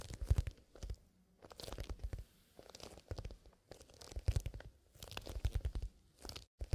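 Bare fingertips poking out of fingerless gloves scratch and rub the side of a small, soft, hollow black pebbled leather pencil case with a metal zipper, its contents not visible. The sound comes in close, dry, crunchy bursts of scratching and rubbing, separated by brief quiet pauses. It is heavy and muffled in the lows, with little brightness.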